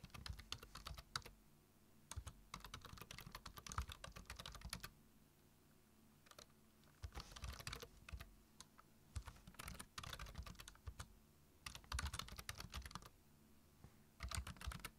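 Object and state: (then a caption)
Plastic computer keyboard. Fingertips type on a black plastic computer keyboard, making bursts of quick, crisp key taps with a bright click and a low thud under each stroke. The bursts are separated by short pauses, and a steady low hum runs beneath throughout.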